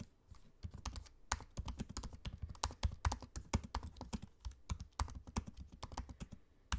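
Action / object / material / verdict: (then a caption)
tap / laptop keyboard with plastic keys / plastic / none. Fingertips of both hands type on the low-profile black plastic keys of a space-grey aluminium laptop keyboard. A steady, uneven stream of soft, dull taps is heard, each thumping low with a quick bright click on top. The taps die away almost instantly, with quiet gaps between bursts.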